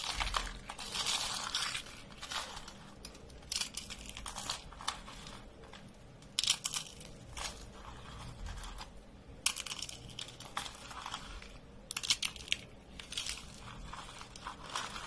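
A pile of dry beige soap flakes and curls is pressed, raked and crushed with fingertips. Crisp, bright crunching and crinkling comes in repeated bursts of varying length, separated by softer rustling. The sound is quiet and dry, with each crunch ending abruptly without ringing.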